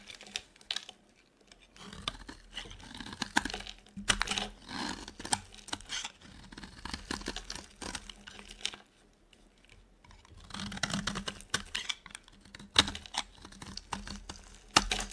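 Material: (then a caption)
Soap. A solid rectangular dry white soap bar, held in the hand, is shaved and carved with a utility knife blade, the scraping and cutting producing flakes. Bright, crisp scraping and crackly crunching come in short irregular bursts of dry ticks, with a faint low hum underneath and near-silent pauses at about 1 and 9 to 10 seconds.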